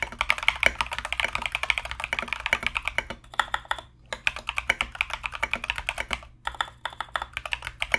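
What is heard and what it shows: Fast, continuous two-handed fingertip typing on a compact mechanical keyboard with Mozano EVE switches and plastic Knight King SA keycaps. Dense, bright clacks run in quick bursts with very short decay, easing into brief pauses around three, four and six seconds.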